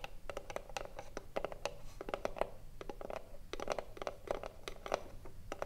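Long nails scratch and tap the front face of a hollow, printed wooden cigarillo box held in both hands. The result is a quick, irregular run of dry clicks and scrapes with a short hollow ring around 590 Hz, bright crisp transients, and a low background rumble.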